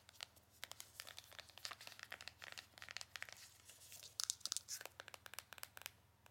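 Long nails tap and scratch across the faces and edges of a small, hollow, printed cardboard Benefit box. The result is a quiet, rapid run of dry, bright clicks and raspy scratches with almost no low end. Each tap cuts off at once, with a few sharper, louder taps near the middle.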